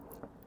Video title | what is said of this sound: youtube video #6CiJ9qpdwhE | głuchy dźwięk wyciszonych porządnie drzwi